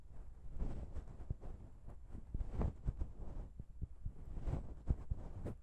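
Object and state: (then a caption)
Metal microphone capsules tapped. Long pink nails tap and scratch the small chrome metal microphone capsules of a Zoom H6 recorder. The taps come at an uneven pace and sound as dull, bassy thumps, with soft scraping in between.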